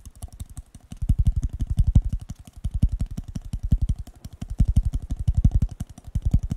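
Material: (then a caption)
Paper. A blue disposable paper cup, hollow and empty, is held sideways and tapped rapidly on its side and bottom with fingertips and nails. It makes a fast, uneven stream of short, deep, hollow thumps with faint bright clicks, swelling louder and fading softer in waves.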